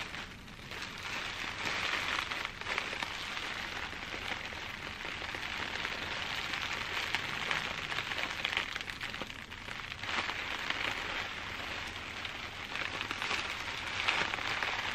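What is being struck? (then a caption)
Plastic bubble wrap. A large bundle of clear plastic bubble wrap is held up and squeezed and scratched by fingertips with long dark-painted nails. It makes a dense, continuous bright crinkling and crackling that holds a steady level for the whole clip, with a few slightly louder crackles along the way.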